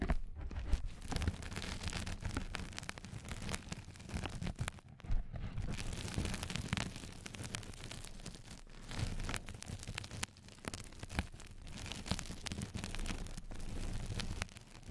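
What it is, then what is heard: Mesh bath sponge. Long fingernails on both hands scratch the textured surface of a flat yellow knitted-mesh bath sponge pad placed over the microphone. The result is a dense, continuous rustling and crackling scrape, heavy in low rumble with brief bright scratchy streaks. The texture swells and dips in loudness throughout.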